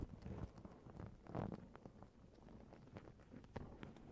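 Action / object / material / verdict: scrape / sequin-covered fabric pillowcase / sequins, fabric / none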